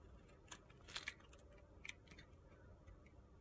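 A utility-knife blade shaves the sides of a narrow, solid, pale pink soap block held in the hand. It makes short, crisp, bright scraping ticks with quick decay over a low, steady background hiss.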